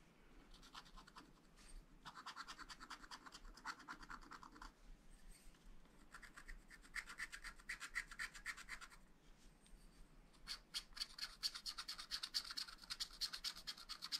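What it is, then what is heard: Scratch-art paper being scratched. A wooden stylus scratches lines into the coating of a black-coated scratch-art sheet in a spiral pad, near the lower figures. Quick, dry, bright scratching strokes come in dense bursts separated by brief pauses. The last few seconds grow louder and sharper.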